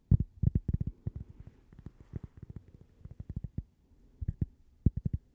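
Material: Cork.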